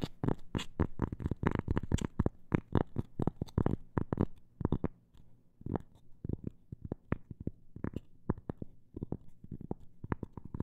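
A cork coaster is tapped with a fast run of short, dull taps that slow and thin out after a brief quieter stretch near the middle, then pick up again in irregular clusters. Each tap is soft and muffled, weighted toward the low end, and stops almost instantly with no ring.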